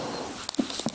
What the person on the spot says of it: ça sonne comme du métal